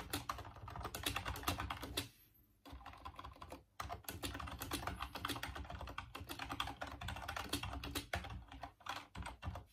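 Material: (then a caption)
Plastic. Fingertips type rapidly on the keys of a full-size off-white plastic Dreamcast computer keyboard, producing a dense stream of bright plastic clicks with low thuddy key bottoming. The typing pauses briefly around two seconds and again near four seconds before continuing steadily to the end.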